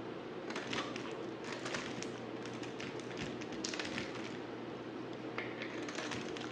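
A utility knife blade cuts into a solid black bar of soap that has been partly carved. Soft, crisp scraping and crunching slices follow one another with bright, high crackle, over a steady low hum.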